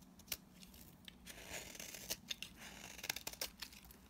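A utility knife blade shaves and cuts dry chunks from a solid blue bar of soap held in the hand. The sound is a bright, crisp scraping and crunching, punctuated by sharp, quick snaps as pieces break away.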